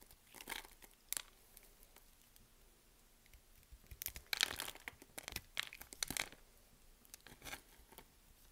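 A box-cutter blade scrapes across a solid white bar of soap held in the hand, chipping cubes and flakes off the surface. Bright, crisp crackling and scraping bursts come in uneven clusters, densest in the second half, with quiet pauses between them.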